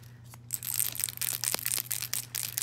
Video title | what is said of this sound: FabFitFun Summer 2019 | sounds like it's broken but that's just how it is